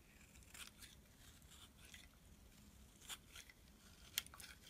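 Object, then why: Bar of soap. A utility knife blade shaves and scrapes crumbly flakes off a small, solid black and white striped bar of soap held in the hand, building a pile of shavings. Soft, bright, dry scraping and crunching runs throughout, broken by short crisp cuts that stand out, the sharpest near the end.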